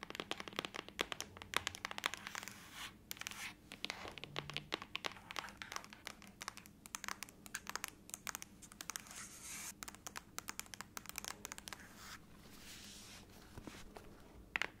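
Long nails tap and scratch the lid of a closed silver aluminum laptop, first lying flat and then held upright. Rapid, dense, bright clicks and scrapes sound with almost no ring, over a faint low hum.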